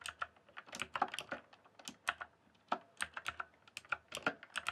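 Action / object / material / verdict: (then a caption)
tap / mechanical keyboard with plastic keycaps / plastic / none. Fingertips type rapidly on a rainbow-backlit mechanical keyboard with plastic keycaps, producing a quick, irregular stream of short, clicky taps. Each keystroke is sharp and bright with almost no ring, separated by brief pauses between bursts.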